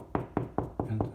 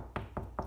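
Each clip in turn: First: Five quick, low knocks with a papery boom around 110 Hz: hollow drywall over an empty cavity. Second: Three short, dull knocks on drywall, low and damped with little boom, where a wooden stud backs the board.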